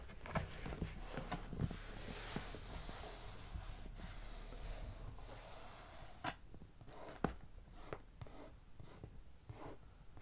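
One hand scratches the printed top of a medium, closed, hollow brown corrugated cardboard box with long nails, making a steady, papery rasping hiss. Sharp clicks of the nails catch on the surface now and then. The scratching is quiet, with a dull low hum beneath and a brighter airy texture above.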